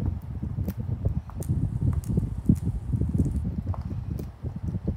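A child presses the hollow bubbles of a small, flat, gun-shaped pastel silicone pop-it lying on a poster, using the fingertips of both hands. The result is a rapid, irregular run of dull, low clop-like pops with very short decay, plus faint brighter clicks, while a second pop-it lies nearby untouched.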